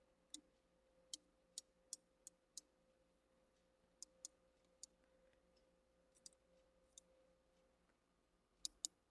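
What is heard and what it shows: Thirteen sharp, bright taps on a plastic bottle of hand-cleaning alcohol, spaced irregularly, with a faint steady hum underneath. Each tap is a crisp, high click that dies away almost instantly.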